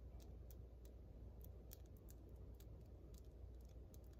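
Long white almond-shaped acrylic press-on nails, small hard hollow plastic shells, are tapped tip against tip quickly with both hands, giving sharp, bright clicks. The clicks scatter irregularly over a steady low rumble that carries most of the energy.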